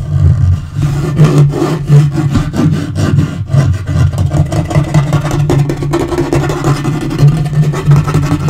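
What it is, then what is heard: Wood-grain laminate table top. Fingernails rapidly scratch and tap on a dark wood-grain laminate portable table top. The result is a dense, continuous stream of low, muffled thuds and scraping that stays steady throughout, with almost no bright high end.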